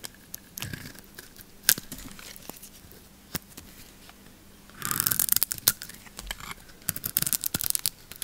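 A hand-held solid bar of yellow soap with a blue lacquered coating is shaved with a metal blade, curling thin strips off its surface. Sharp, bright crackles and crisp tearing scrapes come in scattered bursts, building to a denser, louder stretch of crunchy shaving midway through before returning to intermittent snaps.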